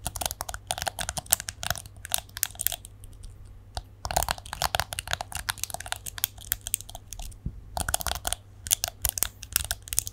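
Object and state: Plastic detangling hairbrush.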